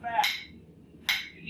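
A hammer strikes an iron-body anvil with a steel top, producing short, bright metallic clanks that die away quickly with little ringing. The anvil is quiet compared with ringing anvils, and the hammer bounces back off the face, showing the carbon steel top is hard.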